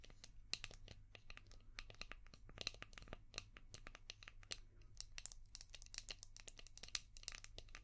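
Long painted nails tap and scratch a palm-sized, translucent orange hard plastic brush shaped like a seashell, with a ridged back. The result is a dense run of quick, crisp clicks and dry, crinkly scratching, bright and quiet, over a faint low hum.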